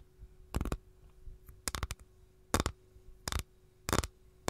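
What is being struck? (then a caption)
Capiz shell tray. Long gold nails tap in quick little clusters on the edge of an empty capiz shell tray held edge-on. Each tap is a short, dry, bright click with almost no ring, over a faint steady hum and low background noise.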